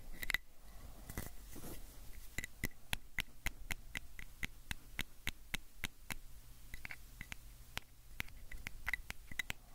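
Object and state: Plastic pill bottle.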